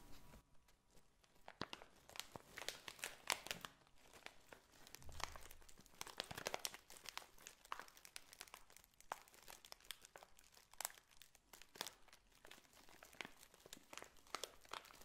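A tall clear plastic bag filled with loose dried red and pink potpourri petals is held and squeezed with fingers and long painted nails, crinkling and rubbing against the dry contents. Quiet, dense, bright crackles and crunchy rustles come in a steady stream of short, sharp snaps with no ring, and a soft low thump is heard once midway.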